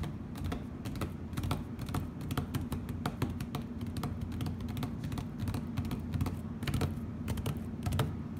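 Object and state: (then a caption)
Plastic tablecloth tapped and scratched. Fingertips and nails tap and scratch across a flat plastic heart-print tablecloth on a table, hands spread over its surface. Rapid, dry, clicky taps and brief scratches follow in quick succession over a steady low hum.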